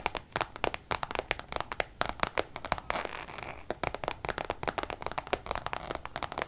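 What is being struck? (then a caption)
Coated canvas zip pouch. Long nails tap and scratch the face of a coated-canvas Louis Vuitton zip pouch, making a quick run of sharp, bright clicks. Around the middle the taps give way briefly to a softer, hissy scratching before the rapid tapping resumes.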